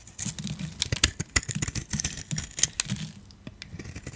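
A metal utility blade shaves brittle curls off the surface of a solid dark grey dry soap bar held in the hand. The result is a quick run of dry, crunchy scraping strokes with bright crackly snaps and a soft low rumble underneath, easing off into lighter scratches near the end.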